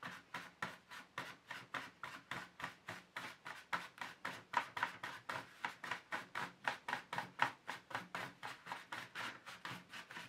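Fingers firmly rub and scrub the inner surface and slots of an empty black plastic paint tray insert with a tissue. About 39 quick, evenly paced scrubbing strokes come at roughly four per second, each a short dry rasping swish centered in the mids with a bright, hissy top and almost no low end. The strokes stop dead with no ring.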